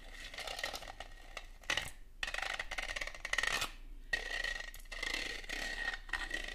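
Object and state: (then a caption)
Ribbed plastic Christmas bauble. Long gold metal claw nail covers rub and scratch across a red, ribbed, hollow Christmas bauble, likely plastic, held in the hand. Dense, bright scraping rasps with a steady ringing tone near 1.9 kHz come in bursts, broken by brief quiet pauses around two and four seconds.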